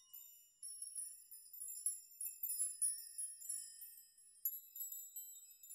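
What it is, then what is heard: Metal nail chime. A large curtain of many thin, hollow-sounding metal nails hangs in a dark room, and fingertips and open hands brush and rock it so the nails collide and ring. The result is a quiet, bright, high tinkling with quick, short-ringing clinks that swell and fade in irregular bursts, with no low end at all.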